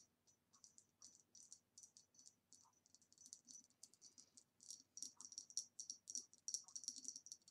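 A retro ribbed green glass vase, standing upside down and hollow, is tapped with long nails on its base and sides. The result is a quiet, rapid, irregular stream of bright, high clicks that die away almost instantly.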